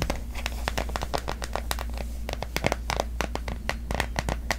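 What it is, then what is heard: Plastic phone case tapped with nails. Long nails tap quickly and steadily on a pastel printed plastic case fitted on a smartphone held up in the air. The result is a dense run of short, dry, clicky taps over a steady low hum.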